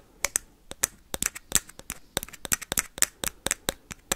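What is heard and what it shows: A hollow plastic ping pong ball is tapped and scratched quickly with paperclips. Twenty-one sharp, bright clicks sound in an uneven, rapid rhythm, each dying away almost instantly, with little low end.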